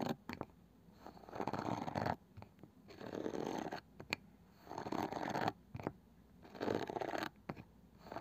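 Long painted fingernails tap and scratch the flat, light wooden lid and edge of a palm-sized round box with a woven cane side band that is probably hollow. Dry, rasping scratch strokes come in repeated bursts of about a second, broken up by sharp, quick taps that die away almost at once.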